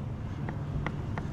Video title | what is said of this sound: Massey Ferguson 6499 i naprawa za 60 000zł klient zrezygnował z kompleksowej naprawy [Korbanek] | Incluso puedes escucharlo golpeando, es decir, los extremos del sistema de dirección